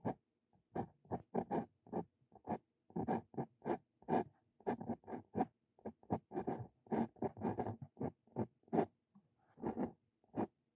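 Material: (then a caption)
Paper. A steel Brause Cito Fein dip pen nib writes Korean text on a lined paper sheet resting on a wooden desk. The nib makes a quick, uneven series of short, dry scratching strokes, each a brief gritty rasp with small pauses between.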